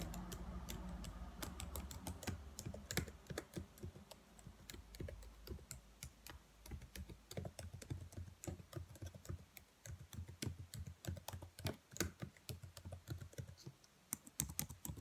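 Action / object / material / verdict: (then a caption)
tap / plastic laptop keyboard keys / plastic / none. Long nails tap and type on the black plastic keys of a dark laptop keyboard, producing a steady stream of sharp, bright clicks with short decay. A low hum sits underneath in the first few seconds.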